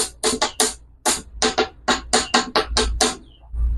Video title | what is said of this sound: BATONG KALAWAKAN BA ITO O KAHOY NA NAGING BATO? | Ito ang tunog ng bato.